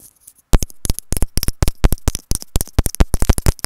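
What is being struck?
Plastic earphone inline remote microphone.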